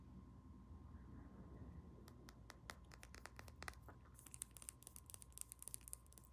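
Long nails tap quickly on a small pink-labelled glass roll-on perfume bottle and its shiny metal cap, making sharp, dry clicks that begin after about two seconds. The taps become brighter and more glassy in the second half, over a quiet low rumble and a faint steady tone.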